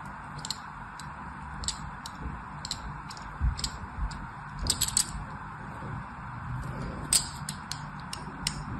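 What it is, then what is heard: Bar of soap being scored. A thin metal blade scratches and scores crosshatch lines into the surface of a solid white bar of soap held in the hand, and the bar is rotated at the end. Short, bright, crisp scraping ticks come in irregular bursts over a steady low rumble and soft hiss.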